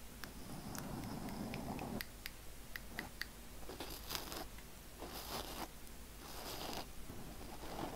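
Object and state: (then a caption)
Foam microphone windscreen being scratched. Fingertips and nails of both hands quickly scratch and rub a black foam windscreen on a microphone. The result is a close, muffled rumble of rubbing, broken by bright, crackly scratching bursts and a few sharp clicks.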